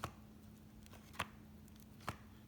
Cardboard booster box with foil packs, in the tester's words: a loose pack going left to right